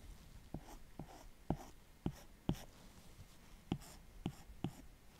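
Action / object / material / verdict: tap / plastic stylus tip on a glass tablet screen / glass / none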